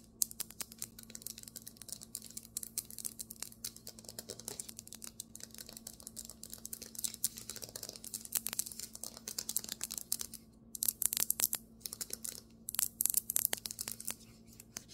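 Long nails and fingertips of both hands tap and scratch fast on the flat surface of a large solid white marble tabletop, close up. A dense, rapid stream of crisp, bright clicks and scratchy strokes runs throughout over a faint steady low hum, with louder bursts near the end. Each tap is dry and stops at once, with no ring.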